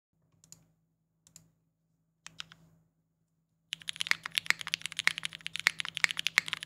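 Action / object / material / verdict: tap / mechanical keyboard with plastic case and plastic keycaps / plastic / none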